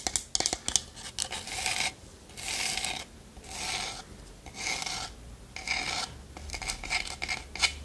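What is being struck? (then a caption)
Small wooden lidded pot. Long nails tap and scratch the polished sides of a small hollow wooden pot with a lid. Quick bright clicks cluster at the start and end, with several sustained raspy scratching strokes between them, each lasting about half a second to a second.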